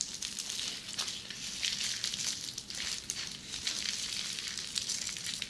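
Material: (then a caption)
Plastic. Long red nails on both hands scratch a large flat sheet of red plastic bubble wrap lying on a table. The result is a dense, continuous bright crackling and rustling, almost entirely high in pitch, with a crossfade partway through.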